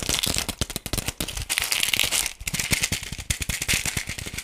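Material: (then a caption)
Plastic. Fingertips and nails tap and scratch the surface of a hollow, palm-sized yellow plastic toy ball with pink spots. The result is a rapid, dry, rattle-like clatter of short bright clicks with almost no ring, and scratchy high hiss between the taps.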